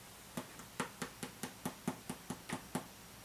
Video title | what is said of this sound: iPad Air Review | it sounds hollow. Like when you're typing on it, it's very loud.